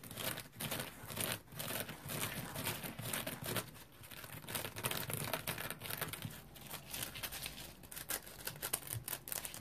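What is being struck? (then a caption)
Polymer foam scrub sponge. Fingernails scratch the bumpy surface of a dry, round, hand-sized yellow polymer-foam scrub sponge with a smiley face and a porous, textured body. The result is a dense, continuous crinkly scratching with rapid, irregular strokes and bright, hissy texture that swells and dips in loudness throughout.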